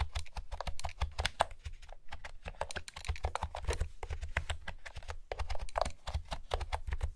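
Fingertips with long nails type steadily on a light blue plastic retro keyboard with round pastel keycaps and a hollow housing. Each key tap gives a short, sharp clack over a low hollow thump, with brief pauses near 2 and 5.3 seconds.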